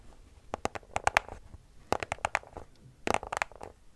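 A small white cardboard product box, held in both hands, is scratched and tapped with long nails. The result is thirteen sharp, dry clicks in three quick bursts, each with a hollow papery knock around 830 Hz and a bright crisp edge. They die away almost instantly over a faint scratchy rustle.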